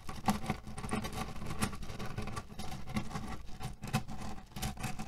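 Short nails and fingertips scratch quickly across a small cotton pillow filled with cherry pits. The pits shift and rattle inside the fabric in a dense, continuous stream of soft, dull, low clicks and scratches with brief surges.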